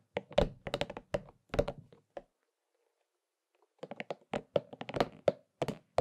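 A hollow, purple and pink soft rubber spiky massage ball is held in both hands while fingertips scratch and tap on its spikes. Quick runs of short, dull, hollow taps with a mid-range tone come in two bursts separated by a brief pause. Each tap dies away almost instantly.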